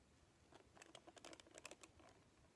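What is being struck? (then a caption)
Plastic paddle hairbrush with bristle cushion. A hand-sized red plastic paddle hairbrush with a black cushion of many bristles is held in one hand while long painted nails scratch and strum across the bristles. The result is a quiet flurry of crisp, bright ticking and crackling flicks that come in quick bursts and stop instantly with no ring.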